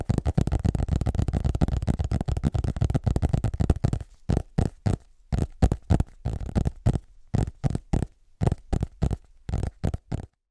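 Fingertips tap and scratch the solid front cover of a large illustrated hardcover atlas book held upright. The first four seconds are a dense, fast flurry of dull, low taps and scratches. It then slows into separate, evenly spaced soft thuds with short silences between them, each dying away at once with no ring.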